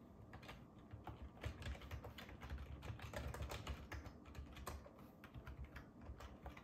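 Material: Plastic.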